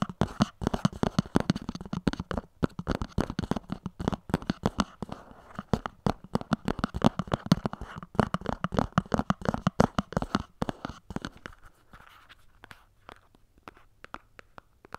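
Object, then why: Small cardboard box. Long nails scratch and tap the edges and sides of a small, hollow white cardboard earphone box, first standing upright and then lifted by hand. The result is a dense run of quick, dry, dull taps and scratchy crackles with a hollow low body. The tapping thins out and grows quieter near the end.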